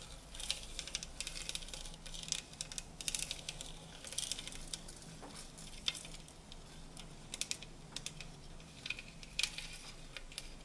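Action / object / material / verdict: tap / tinplate tea canisters / tinplate / none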